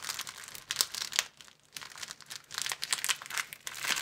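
A thin, empty, hand-sized sleeve of clear plastic film, folded long and flat, is squeezed and bent between the fingers of both hands. It gives off dense, bright crinkling with sharp crackles and almost no low end. The crinkling falls briefly quiet around the middle, then picks back up through to the end.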